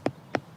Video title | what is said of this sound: Stonehenge - The Lost Circle Revealed | there's a much hollower sound, an element of a drum to it. It echoes a bit.